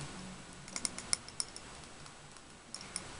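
A tall glass candle jar filled with red wax and wearing a paper label is tapped with fingernails while held up in both hands. Quiet, sharp, high-pitched clicks come in an irregular scatter, a cluster early on, a pause, then a few more near the end. Each tap dies away almost instantly over a soft background hiss.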